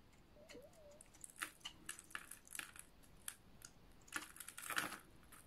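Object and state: Dry bar soap being scraped.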